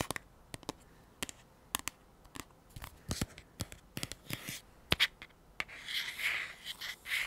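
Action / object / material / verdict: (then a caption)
tap / small cardboard tube / cardboard / none. A small, hollow, teal cylindrical anti-fog kit tube, likely cardboard, is held in both hands and tapped and scratched with fingertips and short nails. Around twenty short, dry, bright taps and clicks sound with no ring, then the last second and a half turns into denser, rough scratching rasps.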